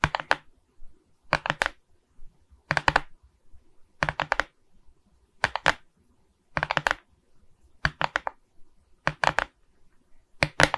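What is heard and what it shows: Long red nails tap and scratch across the resin bead surface of a framed diamond painting on board, held in both hands. Short clusters of three or four rapid, dry, bright clicks repeat about every second and a half, with faint scratching between them. The clicks stop instantly with no ring.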